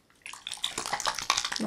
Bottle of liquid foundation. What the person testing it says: c'est super super liquide on entend que voilà ça va être je pense un fond de teint